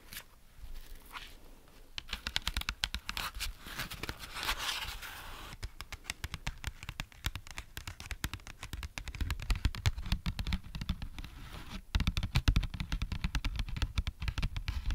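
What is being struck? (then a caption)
Watercolor paper pad. A Baohong watercolor paper block, a solid stack of paper with a light green cardstock cover, is held in both hands and tapped and scratched with long nails. Dense, rapid dry taps and scratchy, crinkling strokes run throughout, with a heavy low thump underneath that grows louder in the second half.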